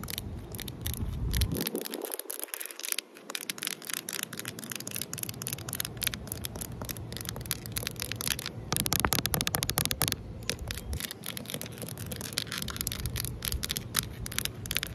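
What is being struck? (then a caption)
Concrete ledge. Long nails tap and scratch across a large, solid outdoor concrete ledge, making a dense run of sharp, bright clicks and gritty scraping. The taps are quick and dry with almost no ring, over a steady low rumble that drops out briefly near the start.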